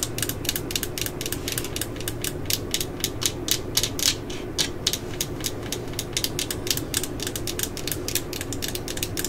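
Long nails tap and scratch the yellow, hollow plastic housing of a cordless drill near its clutch ring. Dozens of quick, bright, clicky taps come at an uneven, ratchet-like pace, each dying away fast over a steady low rumble.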